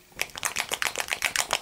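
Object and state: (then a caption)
Fluid paint, mixing ball clacking freely. A bottle of chameleon paint with a mixing ball inside is shaken, and the ball clacks right away in ten quick, bright, dry clicks with almost no ring. The immediate clacking shows the chameleon paint is more fluid than the thicker fluo paint it is being compared with.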